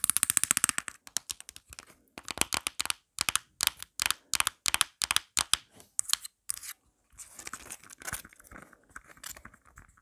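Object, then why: Plastic phone case. Long black nails scratch and tap fast around the pop grip and surface of a marble-print plastic phone case held up close. Dense bursts of bright, dry clicks and scratches come in quick clusters with tiny gaps, then give way to softer, scattered scraping near the end.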